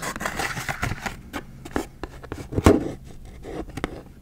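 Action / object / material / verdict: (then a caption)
scrape / plastic blister pack of markers with cardboard backing / plastic, cardboard / none. Long acrylic nails scratch and tap on a full Expo dry erase marker pack, first on its cardboard back and then on the clear plastic blister front. The sound moves from a dense, bright scratching rustle into sharper, separate clicky taps. The loudest crisp tap lands near the middle, and the clip ends with quieter, scattered taps.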